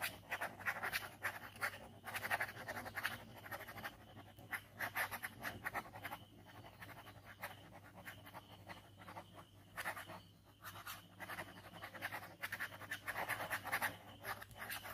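A ballpoint pen scratches quick scribbles across a white paper sketchbook page bearing an ink skull drawing. The sound is a quiet, dry, papery scratching that comes in rapid bursts of strokes, brightest in the upper mids with some high hiss. Short pauses separate the flurries throughout.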